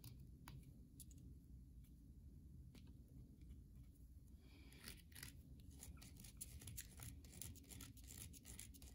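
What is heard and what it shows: Long nails scratch the face of a solid white soap bar held in the hand, leaving grooves. The sound is a quiet, steady low rumble with sharp, bright scraping and clicking strokes that grow denser and louder after about four and a half seconds.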